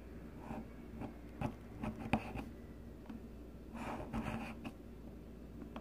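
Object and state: Bar soap being shaved.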